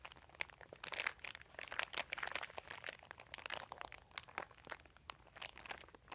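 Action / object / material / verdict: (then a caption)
scrape / thin embossed plastic sheet / plastic / none. Fingertips press and crinkle a large, thin white plastic sheet or bag with a dotted embossed texture lying flat on carpet. The result is a dense run of sharp, bright crackles and crunches with almost no low end, rising and falling in quick bursts.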